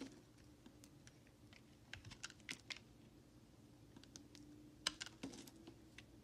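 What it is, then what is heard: Bar soap being carved. A utility knife blade scrapes and carves curls off a solid white, palm-sized Dial bar soap held in the hand, breaking off chunks. Quiet, sharp, bright clicks and short scrapes are scattered through the clip, with a few louder snaps near the middle and end. A faint, steady low hum sits underneath.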